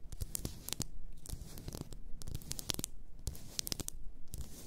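Long nails scratch the sides and label of a large, apparently glass bottle full of pink bath salt. The result is a steady run of close, dry scratching and crinkly rasps, broken by sharp bright clicks over a soft low rumble.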